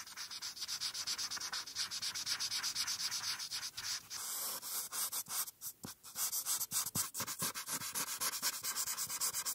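A felt-tip marker is rubbed quickly back and forth across a thin white paper coloring page lying flat on a dark surface, coloring in the ears and horn. The result is a steady run of bright, high, scratchy strokes with almost no low end, loosening into more separated strokes midway before picking up a dense rhythm again.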